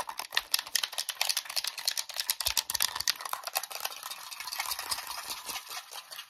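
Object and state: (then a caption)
Plastic game controller. A red, hollow plastic wireless game controller with its battery cover open is held in both hands and rapidly tapped, scratched and rattled with short natural nails and fingertips. The result is a fast, dense stream of sharp, dry plastic clicks and scratches that are bright and high with almost no low end, each dying away almost instantly.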